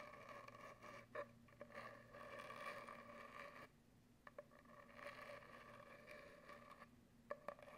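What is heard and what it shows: Long acrylic nails scratch and scrape lengthwise along an empty, hollow brown cardboard paper towel tube. The result is a steady, hollow scraping with a resonant, humming tone around 590 Hz, broken by short pauses and a few sharp clicks.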